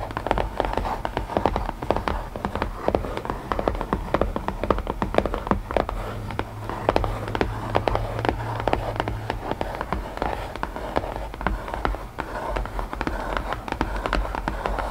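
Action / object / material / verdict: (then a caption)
tap / small closed cardboard box tapped with nails / cardboard / none. Long nails rapidly tap and scratch the lid of a small, closed, hollow white cardboard puzzle box. The result is a steady stream of short, dry, hollow mid-pitched clicks over a faint low hum, with each tap dying away almost instantly.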